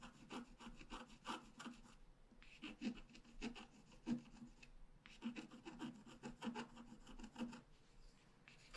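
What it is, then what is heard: Scratch-art card being scratched. A pointed wooden stylus held in the fingers scratches continuous strokes across a flat A5-size black-coated scratch-art card lying solid on a table. Quiet, dry rasping strokes come in rapid bursts, grouped into three runs separated by short pauses. Each stroke has a bright scraping texture and a faint low tonal rub underneath, and dies away almost immediately.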